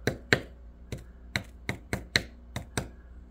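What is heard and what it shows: A freshly microwave-sintered part printed from aluminum filament is tapped repeatedly after coming out of the furnace. It gives a series of short, sharp clicks with a bright ring around 1.8 kHz that dies away almost at once. The sound is pretty metallic, suggesting the part sintered into metal.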